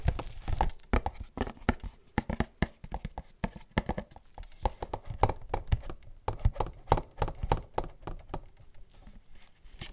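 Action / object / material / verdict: tap / printed cardboard gift box / cardboard / none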